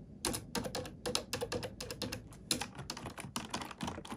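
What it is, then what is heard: Plastic computer keyboard being typed on. A black plastic computer keyboard is typed on with fingertips. It gives a quiet run of quick, irregular key clicks, each a sharp, bright tap that dies away almost at once.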